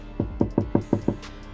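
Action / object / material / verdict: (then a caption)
knock / steel car door panel / steel / hollow. Six knocks on the steel door panel of a Skoda Kodiaq that has no sound-deadening material applied, tested for comparison with a treated door. Each knock gives a hollow, resonant thud with a low-mid tone that fades quickly. The untreated panel sounds resonant rather than solid.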